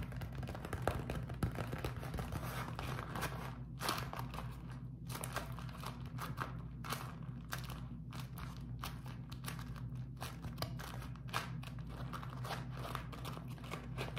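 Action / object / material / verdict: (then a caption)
scrape / beeswax-coated cotton food wrap / waxed cotton / none. A beeswax-coated cotton food wrap is crumpled into a ball in both hands, and the fingertips squeeze and tap it. Dense, continuous crinkling and crackling comes through, with many short, sharp taps over a steady low hum.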